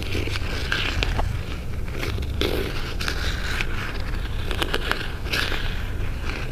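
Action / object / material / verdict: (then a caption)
scrape / small cardboard jewelry box / cardboard / none. A small, closed white cardboard jewelry box is held up close while fingernails and fingertips scratch and rub its sides. The result is a steady stream of dry, crackly scraping strokes with bright, sharp edges over a constant low rumble.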